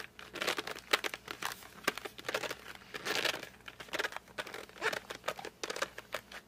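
Fingertips grip, rub and drag across the glossy front of a flat cardboard colored pencil box. The result is a quick run of short, bright squeaks and dry scratchy crinkles with almost no low end, some strokes drawn out into longer brushy scrapes.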